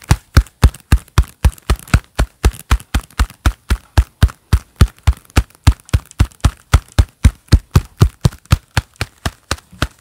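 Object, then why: Leather gloves. Hands in a pair of black leather gloves clap and rub their gloved palms together in a quick, fairly steady rhythm of roughly forty claps. Each clap is a short, dull, low thud with almost no ring, followed by faint leathery rubbing between hits.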